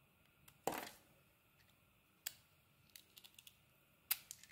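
A solid oval green and blue soap bar with an embossed logo, held in the palm, has pieces carved off it by a metal blade. Sharp, bright scraping cuts stand out against near silence: a loud one near the start with a short trailing shave, another in the middle, and a cluster of small crisp ticks before a final strong cut with light flicks after it.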